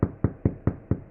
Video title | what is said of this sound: Sourdough Bread | it sounds hollow when you tap on its bottom